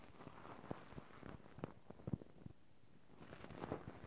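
Two cotton swabs held in both hands rub and scratch the metal mesh microphone grilles of a Zoom handheld recorder. The result is a close, muffled, low-heavy scratching with soft crackly pops and thumps, dipping briefly quieter in the middle before the rubbing picks up again.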